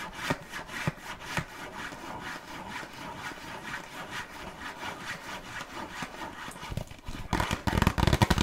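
A small, closed, red printed cardboard box of burger cookies, hollow with its contents inside, is held in the hands and tapped and scratched with long nails. A steady, dry, rhythmic scratching runs through most of the clip, with a few soft taps early on. Louder, denser tapping and rattling comes near the end.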